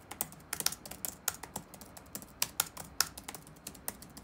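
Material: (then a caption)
Plastic. Fingertips type rapidly on the black plastic keys of an open laptop resting on a wooden desk. About 18 quick, bright, dry clicks land at an uneven pace, each one dying away almost at once over a quiet background.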